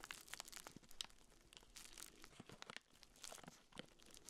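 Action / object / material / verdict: scrape / urinal deodorizer cake in plastic wrap / plastic film / none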